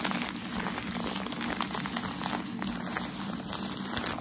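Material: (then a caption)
Paper. Folded white tissue packaging paper for shoes, held in both hands, is scratched with the nails and crinkled between the fingers. A steady, dense crinkling and scratching texture runs throughout, with bright rustling hiss over a faint low tone near 240 Hz. It stays at an even level with no clear separate hits.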